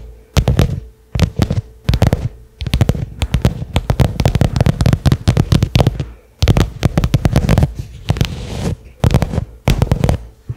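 Fingernails tap a small cylindrical black case with a pebbled leather covering, likely hollow, resting on carpet. Rapid bursts of dry, dull taps come in quick clusters separated by brief pauses. The sound is mostly a low, hollow thudding with very short decay and little high-end brightness.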